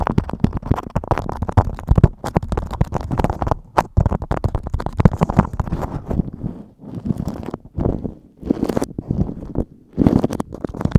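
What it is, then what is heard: Beeswax-coated cotton food wrap. Fingertips scratch, pinch and crinkle a stiff, waxy yellow beeswax-coated cotton food wrap sheet draped over a microphone. The result is a dense, close-up run of rumbling, crackling scrapes, heavy in the low end, broken by a few short pauses.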